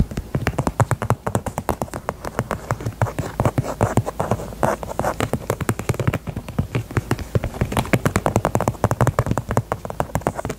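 A small, hollow pink faux leather heart-shaped purse, held sideways, is tapped on its zipper side with long nails. The result is a rapid, steady stream of short, dull taps with a low, hollow thump around 125 Hz, each dying away almost instantly.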